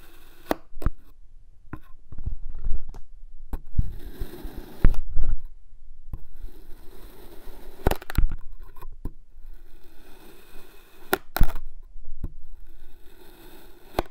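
An iridescent metal knife slices and scrapes through a solid pink kinetic sand cylinder, already cut into wedges, again and again. Soft, low, muffled scraping and crunching swells and fades, broken by sharp, brief clicks as the blade cuts through.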